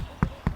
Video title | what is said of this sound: Jurassic Adventure Tour at Kualoa Ranch! - Oahu, Hawaii | If you knock on it, you guys can hear it's pretty hollow